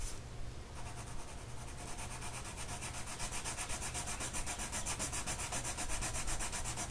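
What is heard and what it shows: A blue colored pencil tip is rubbed back and forth across a flat printed mandala coloring sheet of paper lying on a table, held in place by one hand. Rapid, steady scratchy strokes make a bright, pulsing hiss over a low, soft hum, continuing without a break through the whole clip.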